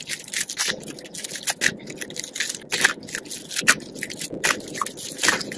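Purple and green dry soap flakes and curls on a dark surface are squeezed in a fist and crumbled between the fingers. The result is a dry, bright, brittle crunching and crackling that comes in irregular bursts with a little gritty rustle between them.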